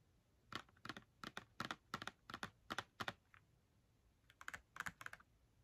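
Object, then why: Small cardboard box of markers. Long fingernails tap and scratch the front face of a small, hollow Crayola cardboard box filled with markers, held in the hands. Quick, dry taps come mostly in pairs, with a pause in the middle before a final cluster. Each tap is a short, bright click centered around 1.4 kHz that dies away almost instantly.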